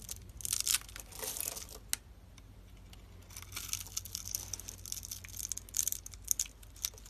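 A metal utility knife blade scrapes and slices a solid pink bar of dry soap held in the palm and pre-scored in a grid, breaking off small soap cubes over a pile of soap flakes. The sound is bright, crisp, crackly scraping and crunching that comes in dense bursts, with a quieter stretch in the middle and sharp snaps toward the end.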